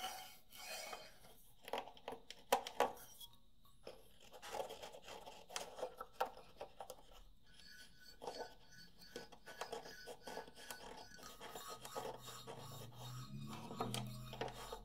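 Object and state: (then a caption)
Wooden xylophone bars being scratched. A row of large, rosewood-coloured solid wooden xylophone bars on a frame is scratched with the fingertips and short nails of both hands, while a recorder microphone sits in front untouched. Quiet, dry rasping and rubbing comes in irregular bursts, dotted with short woody taps that sound briefly around a mid pitch and fade almost at once. A faint low hum rises near the end.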